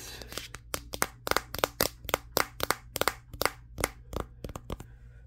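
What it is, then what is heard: Smartphone matte glass back tapped. Fingertips and short nails tap the matte glass back of a Samsung Galaxy S23, the recording phone itself. About twenty quick, dry, bright clicks land in an irregular rhythm, each stopping almost instantly over a faint steady low hum.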